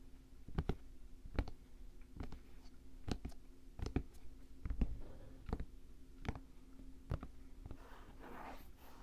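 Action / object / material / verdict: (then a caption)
tap / nubuck leather work boot / nubuck leather / none. Fingertips and nails tap and scratch an empty dark green Timberland-style nubuck leather work boot with a padded collar and metal eyelets. Short, dry clicking taps land at irregular intervals over a faint steady low hum, each dying away almost at once. A soft, brushy scratching on the leather closes the clip.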